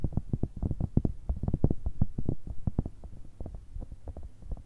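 A grey, hollow, cylindrical cat-shaped pencil case of soft silicone, held in both hands, is tapped quickly and unevenly with long red nails. The taps are dull, soft thumps with almost all their energy low in pitch and no ring, running at about three per second.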